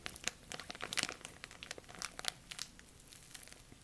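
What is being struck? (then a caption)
Thin plastic bag. A thin, clear, empty plastic bag is scrunched tightly in both hands and crinkled with the fingertips. The result is dense, bright, crackly crinkling with sharp, rapid snaps and almost no low end. It stays quiet throughout, with the loudest bursts early on before easing off toward the end.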